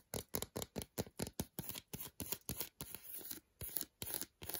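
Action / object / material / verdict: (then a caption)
tap / milk chocolate bar / chocolate / none. Long decorated nails rapidly tap and scratch the segmented front of an unwrapped solid milk chocolate bar, about 100 g, held in the hand. The result is a quick, uneven series of short, dry, bright clicks and scrapes with almost no ring, including a longer scratching stretch near the middle.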